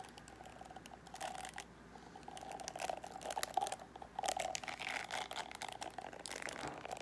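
Fingertips and nails scratch along the tips of a paddle hairbrush's plastic pins, which are set in a black rubber cushion and held close by. The result is a series of dry, crackly, irregular scratching bursts with a steady tone around 760 Hz and bright, rasping highs.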